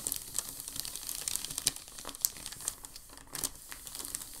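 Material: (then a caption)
Paper. A large, thin sheet of crumpled packing paper on a dark table is rubbed and flattened by a palm and fingers. The result is a steady, bright crinkling with many quick crackles, plus a few sharper pops around 1.7 and 2.3 seconds.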